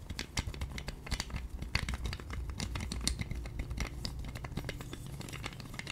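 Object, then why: Plastic roller massager. A hand-sized pink plastic roller massager with two white spiky plastic rollers is tapped, scratched and spun with long nails. Rapid, dry clicks and scratchy ticks crowd together over a steady low hum, with a few sharper taps standing out.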